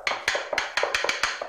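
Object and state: Hollow-sounding floor tile.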